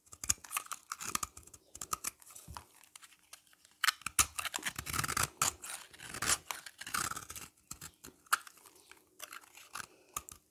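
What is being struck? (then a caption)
Bar of soap. A utility knife blade scrapes across the face and along the edge of a solid, dry, oval yellow bar of soap held in the hand. Quick, dry scraping and crunching strokes come in irregular bursts, bright and gritty with almost no low end, each stroke cutting off sharply into short quiet gaps.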